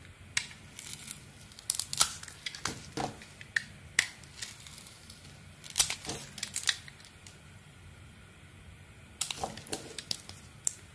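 A metal blade scrapes and shaves thin curls off a solid blue and red bar of soap held in hand. It makes crisp, bright scraping and crackling strokes in uneven bursts, with a quiet pause before a final cluster of shaves.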